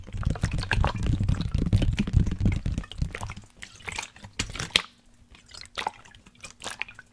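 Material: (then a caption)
Plastic. A large black plastic sports water bottle with a blue cap, hollow and partly filled with liquid, is held sideways and tapped and scratched with fingertips and nails, possibly shaken so the water sloshes. For the first three seconds, dense, booming low taps mix with liquid sloshing and dripping. The sound then thins to sparser, quieter taps and bright scratchy ticks over a faint steady low tone.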